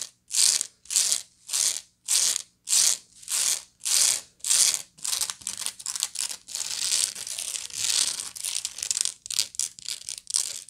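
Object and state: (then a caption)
Woven straw bag. A medium, hollow woven straw bag held sideways is scratched across its woven surface with long nails and fingertips. About eight separate, even rasping strokes come first, followed by faster, denser, overlapping scratching. The sound is dry, high and hissy with almost no low end.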